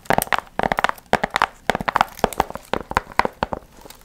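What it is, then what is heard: Foil-fringed paper piñata. Long nails scratch and rub the gold foil fringe on a medium hollow paper pumpkin piñata. About nineteen quick, crisp crinkling scrapes come in bursts, with a papery rustle in the midrange and bright, dry edges that stop at once. The sound is close and crackly, with almost no low end or ring.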